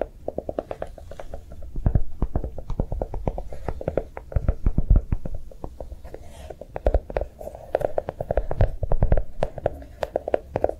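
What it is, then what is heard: Chocolate-shaped notebook. A notebook made to look like a bar of chocolate is tapped quickly and continuously, giving a dense run of soft, dry taps. The taps are dull and low-heavy with a hollow tone around 500 to 700 Hz. They cut off almost instantly, and their loudness swells and eases in waves throughout.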